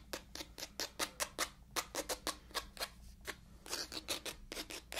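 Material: Cloth over board.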